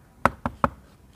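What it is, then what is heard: Plastic scooter inner rear panel. Three short, dry knocks on the plastic inner rear panel of a Honda ADV 160 scooter, each a hollow tap that dies away almost at once. The panel is still plastic.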